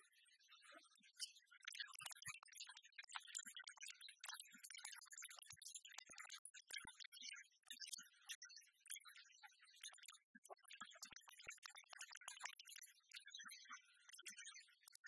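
An oversized copper-colored penny replica, a solid disc that looks metallic, lies flat on a wooden table and is tapped and scratched with the long nail tips of both hands. Quiet, rapid, dry clicks and scratchy rasps run almost continuously, bright and high with almost no low end and no ring. The tone centers around 1.3 kHz.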